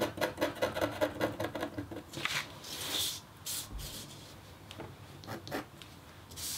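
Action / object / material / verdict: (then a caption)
scrape / copper-foil scratch art board / copper foil / none. A metal-tipped stylus scratches a thin, solid, flat black-coated copper foil scratch art board. A quick, rhythmic run of short raspy strokes is followed by longer, brighter scraping sweeps and a few scattered strokes, each with a dry, papery hiss and almost no ring.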